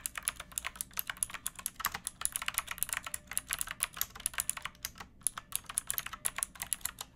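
Long nails and fingertips type quickly on a backlit pink mechanical keyboard with round plastic keycaps and a hollow plastic case. Each keystroke is a short, bright, clicky tap with a light hollow clack, and the taps come in a steady, uneven stream with almost no low end.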